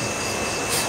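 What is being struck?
Nothing is struck.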